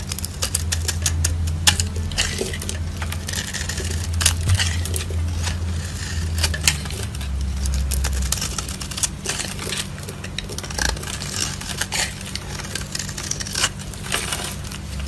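A solid rectangular brown soap bar held in the palm is shaved and scraped with a small yellow-handled blade, leaving a pile of curly shavings. Rapid, irregular, crisp scratching and scraping ticks with a bright edge run throughout, over a steady low hum. The strokes stay dry and short, with no ringing.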